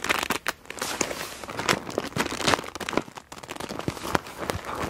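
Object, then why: Plastic PVC pouch holding markers. A frosted clear PVC pouch printed "Wind Blows" and full of markers is gripped and squeezed with fingertips and long nails. It makes bright, crisp plastic crinkling and crackling in quick bursts, with the markers shifting inside. Each burst is short and dry, with no ringing.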